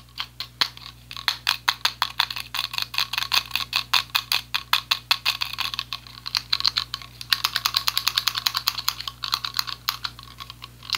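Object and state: Plastic selfie ring light.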